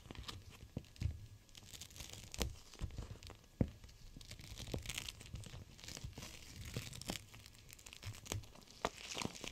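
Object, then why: Gel bead pack in clear plastic. A clear plastic gel bead cold/hot pack is held in both hands and squeezed and bent by fingers with long nails. It gives soft, continuous crinkling and squishing with scattered sharp, bright clicks and crunches over a low, muffled rumble.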